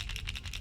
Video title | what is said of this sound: Try These 5 Baits To Catch Cold Water Bass In The Month Of January! | they make all kinds of crazy Shad clicking noises but this one oh yeah super super soft